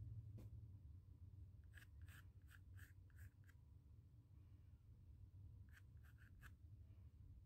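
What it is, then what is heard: Pencil sketching on a cotton canvas panel. A pencil held in the fingers sketches curves across a small square, white-primed stretched cotton canvas panel with a textured surface. Short, bright scratching strokes come in two quick clusters over a very quiet, low steady hum.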